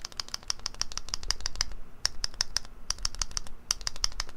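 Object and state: Keyboard stabilizer fixed, no rattle.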